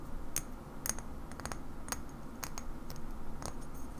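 A small, hollow cobalt-blue bottle, likely glass, with a black screw cap and a paper label is held in both hands and tapped slowly with long nails, mostly near the cap and neck. Each tap is a short, bright click with a quick glassy tick that dies away almost at once, over a steady low background hum.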